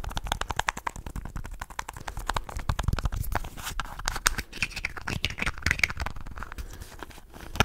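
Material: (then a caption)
Plastic. Fingertips and nails rapidly scratch and rub a small, hollow red and white plastic contact lens case with round red screw caps close to the mic. The result is a dense, fast run of crackly scrapes and sharp bright clicks over a low, rumbling body.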